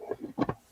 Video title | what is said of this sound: What To Do With Napkins - Marianne's Monday Jumpstart | it sounds like wood because it just becomes much stronger